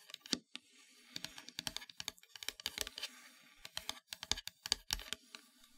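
Long fingernails tap and scratch across the surface of a solid, flat, black-painted wooden heart plaque. A quick, irregular series of sharp, dry, bright clicks with almost no ring is heard, with faint scratchy rustling between the taps. The overall sound is quiet and close.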